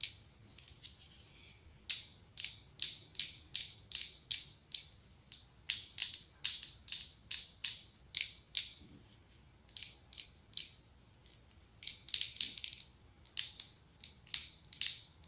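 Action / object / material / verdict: tap / glass pumpkin-shaped candle jar with glass lid / glass / none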